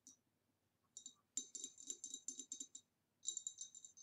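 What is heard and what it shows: Long nails tap the sides of the neck and the rim of a hollow, empty, upright green ribbed glass vase. Quick runs of light, bright clicking taps come in bursts with short pauses between them. Each tap has a high glassy tone that dies away almost at once.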